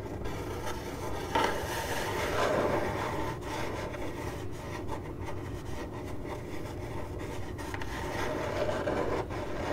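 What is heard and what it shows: Long glittery nails on one hand scratch a hollow, printed corrugated cardboard box, making a steady, dry rasping and rubbing sound. The scratching runs continuously at an even level, with a soft low rumble underneath and brief louder swipes.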